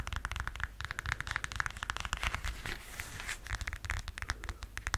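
Long yellow acrylic nails scratch and tap the straps and heel of a beige, strappy, faux-suede-looking high-heeled sandal held up close to the mic. The result is a quick, steady run of dry, crisp clicks and scratchy rustles, with short, sharp taps that ring bright and a constant low rumble underneath.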